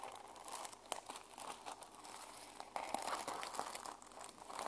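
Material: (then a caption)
Plastic. Long fingernails scratch and brush across the plastic sequin cover of a small journal held flat in one hand. The result is a continuous crinkly, scratchy rustle centered in the midrange with bright hiss, punctuated by quick clicky ticks as the sequins flip, and it grows louder near the end.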